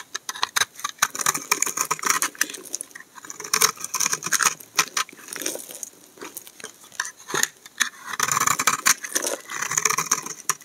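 A utility knife blade shaves a solid pink and white bar of laundry soap, making rapid, crisp scraping and crackling strokes. The sound comes in quick irregular bursts, bright and dry with almost no low end and no ringing between cuts.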